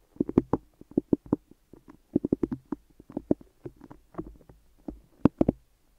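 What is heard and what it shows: Fingertips and long nails tap and stick on white adhesive tape wrapped around both microphone ears, working over the top and sides. About twenty-two short, sticky taps and peels come in an uneven run, each a dull, muffled, low-mid thump around 270 Hz with little brightness. Each one dies away almost instantly.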